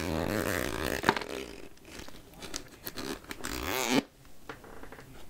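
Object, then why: Plastic candy jar with ridged plastic lid. Long nails scratch along the ridged edge of the black plastic lid on a clear plastic jar full of chocolate caramels, making a rapid, uneven raspy scraping with a sharp click early on. A louder sweeping scrape rises and cuts off abruptly near the four-second mark, followed by softer, scattered scratching.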